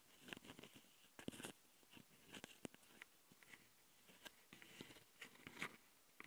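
A long glitter nail rapidly scratches the left metal-grilled microphone capsule of a Tascam handheld recorder, a metal mesh grille on a plastic body. Quick, dry, crackly scratching bursts come in uneven clusters, bright and crunchy with little low end. Each burst cuts off almost instantly, leaving short gaps of quiet between them.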